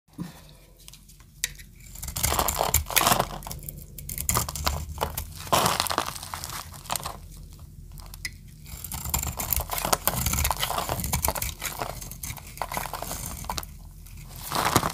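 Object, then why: Bar of soap carved with a blade. A metal utility-knife blade shaves and carves a hand-sized, solid green oval bar of dry soap held in the palm of a hand with long decorated nails. Dense, dry crunching and crisp scraping bursts rise and fall with bright, crackly texture, separated by brief quieter pauses. The soap breaks away into crunchy flakes.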